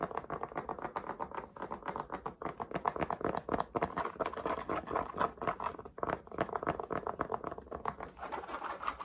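Fingertips and nails tap and scratch quickly across the crown and curved brim of a black cotton baseball cap with a CAT logo, worn on the head. The result is a fast, uneven patter of short, dry taps and soft scratches, centered in the midrange around 1 kHz with little low end, at roughly four taps per second.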